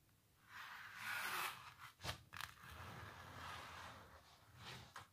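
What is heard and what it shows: Long natural nails scratch across a textured canvas painting of a cellist under blue light, producing bright, dry scraping strokes with a rasping hiss. Two sharp scratches stand out near the middle between longer, softer rubbing passes.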